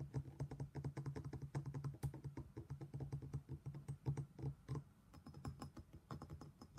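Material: Stone.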